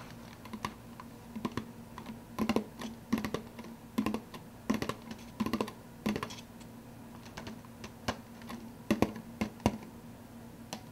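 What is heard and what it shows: An empty soda cup is tapped fast with the fingers, giving quick, dry clicks in uneven bursts, each with a short hollow tone near 215 Hz that dies away almost at once. A faint steady hum runs underneath the whole time.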